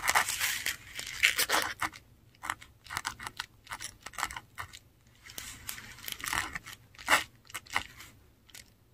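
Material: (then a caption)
Paper. A metal dip pen nib scratches Finnish words in ink onto a flat, textured Korean paper sheet. Bright, dry scratching comes in short bursts of strokes with quiet pauses between words. The sound is dense and busy at the start, then becomes sparser, and little low end is heard.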